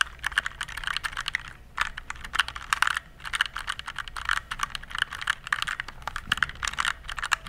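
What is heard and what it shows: Fingertips type on a compact RGB plastic mechanical keyboard, producing rapid bursts of sharp, clacky keystrokes with brief pauses between runs. Each key gives a short, dry click centered in the upper mids with bright edges, very little low end, and almost no ring.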